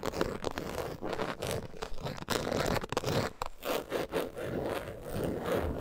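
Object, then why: Coated canvas zip wallet. Long acrylic nails rapidly scratch and tap the front of a closed, long, flat logo-print coated canvas zip wallet lying on fur. The result is a steady stream of dry, crackly scraping with a muffled midrange body, broken by brief dips and quick taps.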